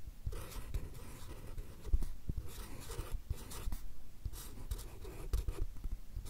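A fine-tip marker pen draws lettering on a small stack of white paper cards held in the left hand close to the mics. Continuous scratchy strokes come in bright bursts of hiss over soft, low bumps and thuds from the cards in hand.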